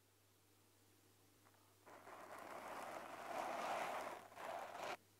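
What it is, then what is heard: Foam microphone windscreen. Fingertips with short lilac nails lightly scratch and rub a small, soft, porous black polyurethane foam windscreen on a handheld recorder. After a quiet stretch with a faint steady low hum, a dense, close-up rustling and scratching noise starts near the two-second mark and builds to its loudest around the middle. It dips briefly and then cuts off abruptly just before the end, leaving only the hum.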